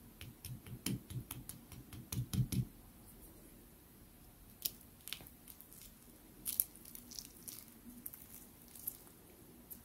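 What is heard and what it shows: A metal fork presses and cuts into a crisp, layered piece of small rolled baklava (flaky phyllo with walnut filling, syrup-soaked) on a white ceramic plate, and may also touch the plate. A rapid run of short, bright crackling crunches fills the first two and a half seconds, followed by quieter, scattered crackles and a few sharper snaps as the pastry breaks apart.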